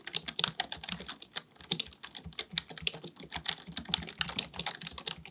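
Both hands type continuously with their fingertips on a black, full-size plastic computer keyboard resting on a desk, likely mechanical with a hollow body. A rapid, uneven stream of sharp, bright key clicks is heard, each dying away at once, with a faint hollow thud beneath.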